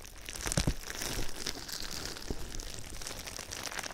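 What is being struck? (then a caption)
Plastic bubble wrap. Fingertips and nails tap and scratch clear plastic bubble wrap that is wrapped around a binaural microphone. The result is a steady, dense crinkling and crackling with bright high hiss, broken by a few louder, deeper thumps near the start and around the middle.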